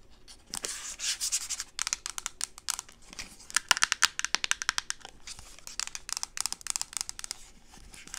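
Long acrylic nails rub and scratch along the textured side of a teal plastic reusable coffee cup, hollow and apparently empty, held in both hands. The result is a bright, dry scraping hiss, mostly high-pitched, in sustained sanding-like strokes broken by quick clicking scratches.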